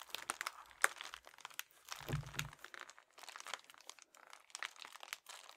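A soft, flat red metallic foil padded bubble mailer is crumpled, squeezed and crinkled between the fingertips and thumbs of both hands. It makes quiet, dense, bright crinkling and crackling with many sharp little snaps. A brief low, muffled rumble comes in the middle.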